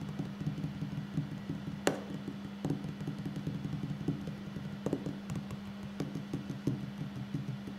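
Fingertips and short nails of both hands tap on a solid wooden tabletop in a quick, irregular stream of soft, dull knocks. The taps die away almost immediately over a steady low hum.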